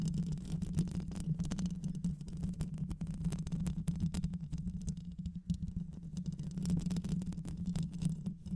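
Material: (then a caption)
Metal mesh. Long nails scratch and tap continuously on the mesh grille of a black hollow microphone, likely metal. The result is a dense, low rumbling scrape with a steady hum-like tone around 150 Hz, dotted with rapid, short, dry tapping clicks throughout.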